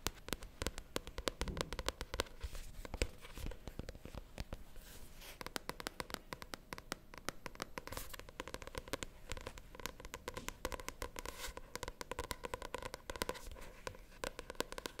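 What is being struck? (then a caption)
Paperback book with glossy card cover. A paperback novel with a glossy cover, held in both hands, is tapped and scratched with long painted nails. The quiet clip is full of rapid, dry clicks and scratchy rustling that die away instantly, spread across low thuds and brighter high ticks throughout.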